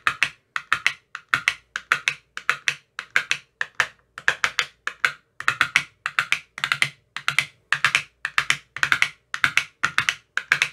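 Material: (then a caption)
Plastic. A thin metal rod with a white tip taps inside the cells of an empty clear plastic ice cube tray with about 15 cells and green silicone bottoms. It makes quick clusters of short, dry, bright clicks centered around 2.2 kHz, each dying out almost instantly, with brief pauses between bursts throughout the clip.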